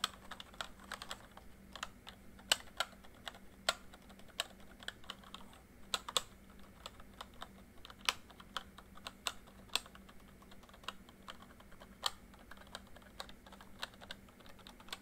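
Fingertips type with slow, uneven key taps on a full-size plastic MSI backlit membrane keyboard. Dozens of short, bright plastic clicks die away almost instantly, with a few louder taps standing out. A faint, steady low hum runs underneath.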